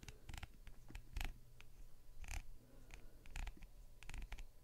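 A thin pointed tool scratches a hand-sized, hollow, blue costumed vinyl rubber duck with a paper tag, held close and gripped by long dark nails. Short, dry scratching strokes with brief bright rasps come in quick, irregular bursts over a low, steady rumble. Each stroke stops almost at once.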